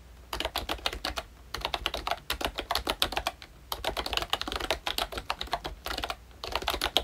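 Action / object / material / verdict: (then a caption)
tap / plastic membrane keyboard / plastic / none. Both hands type with their fingertips on a pink plastic ROYCHE Disney Mickey Mouse retro membrane keyboard with round black keycaps. Rapid bursts of soft, bright, short clicky taps are separated by brief pauses, with very little low end and almost no ring after each key press.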